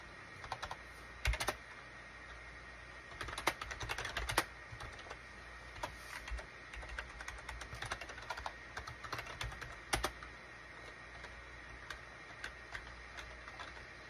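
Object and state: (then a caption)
Plastic computer keyboard. Fingertips type on a full-size gray and cream SHIPADOO K600 wired USB plastic keyboard with a hollow plastic case, resting on a desk mat. Quiet, short clicky keystrokes come in irregular bursts and pauses, with a faint steady tone running underneath.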